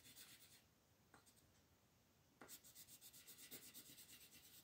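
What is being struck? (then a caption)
Paper coloring book page with a colored pencil. A green colored pencil is rubbed in shading strokes over the tree area of a flat paper coloring book page on a table, while the other hand steadies the sheet. Soft, bright, raspy scratching strokes come in quick bursts, with a quieter pause in the middle before a denser run of strokes.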